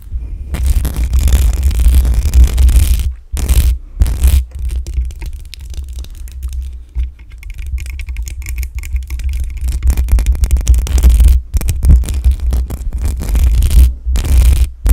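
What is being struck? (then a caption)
Metal mesh microphone grille. Long acrylic nails scratch and tap the top of the hollow metal mesh grille on a black condenser microphone. The result is dense, close-up scraping and rattling with a heavy, boomy low-end thump, broken by a few brief silent gaps.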